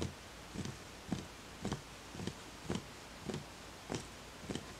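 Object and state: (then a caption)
Empty wooden bowl, hollow. A fingertip taps the outer side of a small, empty, hollow wooden bowl eight times at a slow, slightly uneven pace. Each tap is a short, dull knock with a low, woody tone that dies away almost instantly over a steady soft hiss.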